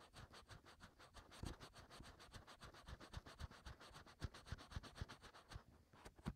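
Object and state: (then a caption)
Fingertips scratching silicone ear. Fingertips scratch continuously inside the hollow canals of the white silicone ears on a 3Dio binaural microphone. A rapid run of short, dry scratching strokes with deep, muffled thumps comes through, under a faint bright hiss.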